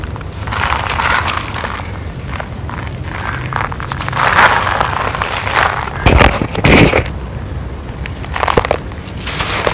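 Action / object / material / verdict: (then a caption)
scrape / cement-sand clumps / cement sand / none. Bare fingers and palms scoop up solid, crumbly lumps of dry, grey, gritty cement-sand from a pile on the ground, crush them and let them crumble and pour back onto the pile. Irregular gritty crackling and crunching runs throughout, with louder, brighter bursts of crushing around the middle and a steady low rumble underneath.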